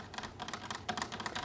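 Fingertips tap quickly on a decorative wooden furniture piece bought on sale. A fast run of light, dry, clicky taps with a hollow midrange knock and bright edges fades almost at once after each hit.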